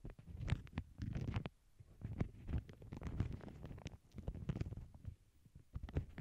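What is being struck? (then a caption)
Empty paper bag on a cork board. Long glittery acrylic nails tap and scratch the surface of a small, flat, empty lavender paper bag lying on a cork board over earbud mics. The result is a quiet, dense run of soft, muffled taps and rustly scratches, heavy in the low end with only brief bright crackles. The sounds come in short bursts separated by brief pauses.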